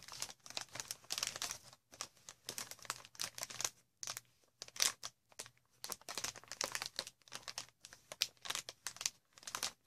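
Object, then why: Inflated plastic air cushion wrap. Long red nails scratch and squeeze a sheet of green inflated plastic air cushion wrap, producing bright, dry crinkling and crackling in quick bursts separated by brief silences. The sound is quiet and mostly high-pitched, with a faint low hum underneath.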